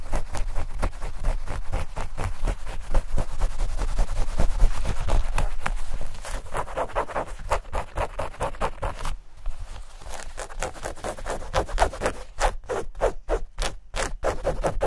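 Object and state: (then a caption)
Denim shorts scratched. Long nails scratch quickly and roughly across denim shorts, over the fabric, the seams and the label tag. The fast, dry rasping strokes come about four per second and are heavy in the low end, with a brief break near the middle. The last few seconds bring sharper, more separated strokes.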